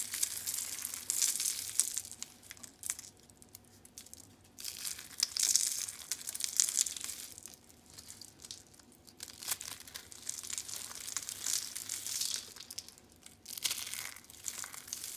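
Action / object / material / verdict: scrape / rolled soap curls / soap / none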